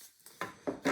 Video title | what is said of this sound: Alfa 155 wing mirror tear down and repair | still in good condition no issues there no cracks it sounds solid